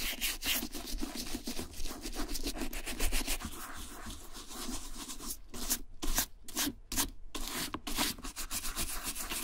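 A small wooden-handled dauber brush with light bristles scrubs the tan rough-out suede or nubuck shaft of a FRYE vintage two-tone boot, held in a gloved hand, working around the strap and buckle. About twenty quick back-and-forth strokes make a dry, bright rubbing hiss over a soft low rumble, with clearer separated strokes toward the end.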